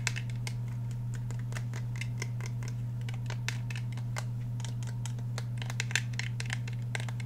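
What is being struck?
Handgun with polymer frame and steel slide.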